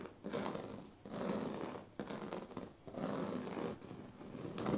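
Fingertips and nails of both hands rub and scratch across a large, flat sleeping mat woven from thin dyed reed strands, with a plastic comb lying still nearby. Dry, crinkly scratching swells and fades in repeated sweeping strokes, with brief quieter gaps between them and a bright, papery texture.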